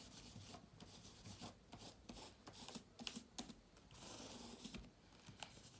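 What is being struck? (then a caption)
Laptop keyboard with plastic keys in a metal body. A bunched yellow microfibre cloth wipes across the plastic keys of a silver laptop with an aluminium body. Soft, quiet rubbing swishes come in repeated strokes with a bright, hissy texture and faint dull taps as the cloth catches the keys. A longer, steadier wipe runs through the middle of the clip before the short strokes resume.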